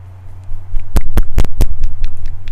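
A plastic container of soft body acrylic paint is shaken, giving a run of quick sharp knocks and sloshing over a steady low hum. The paint can be heard moving inside, showing it is fluid, more fluid than heavy body paint.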